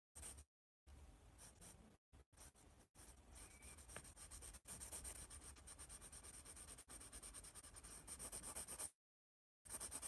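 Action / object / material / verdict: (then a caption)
scrape / pencil on paper sketch pad / paper / none. A yellow pencil scratches across a white paper sketch pad held upright while drawing a large letter A. Dry, rasping rubbing strokes come in bursts separated by short silences, with a bright hiss on top and a soft low rumble underneath.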